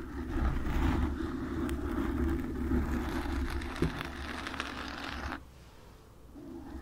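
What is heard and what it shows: Long nails scratch across a black foam microphone windscreen, producing a dense, rough, low rumbling scrape with a brief sharper crackle partway through. The scratching cuts off near the end, leaving a quieter lull before faint rustling returns.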